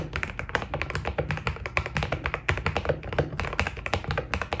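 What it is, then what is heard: Mechanical keyboard with PBT plastic keycaps. Fingertips type quickly on a white Keydous NJ80 mechanical keyboard with PBT plastic keycaps. The result is a dense, steady run of short, crisp key taps that die away almost instantly, with a full low thock beneath each press.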